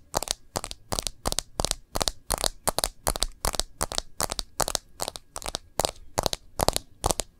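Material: Plastic.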